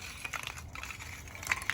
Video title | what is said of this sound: What does good Biochar look like? | it sounds like glass almost and that's a piece of wood but after the oxygen's been taken out of it through that process